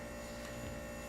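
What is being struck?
Nothing is struck.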